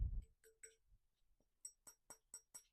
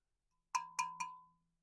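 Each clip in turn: First: Bright, sharp taps with a quick metallic ping: a thin-walled aluminum bike tube that sounds clearly like metal. Second: Three quick taps give a clean ding near 1 kHz that fades in under a second, carbon rather than metal.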